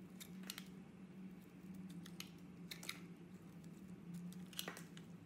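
A hand-sized, solid rectangular soap bar with rainbow-colored layers is held in a hand while a wide blade scrapes and cuts its surface. Soft, crisp slicing and scraping ticks flash bright against a steady low hum, with each cut fading quickly.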